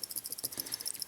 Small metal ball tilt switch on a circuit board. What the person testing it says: I can hear the ball rattling